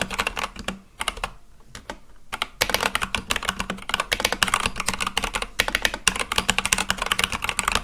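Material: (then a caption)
Plastic. Fast fingertip typing on a full-size Akko mechanical keyboard with white and light-blue plastic keycaps on a black case. It makes a steady stream of bright, sharp clacks that pause briefly near the start, then return in a dense, continuous run.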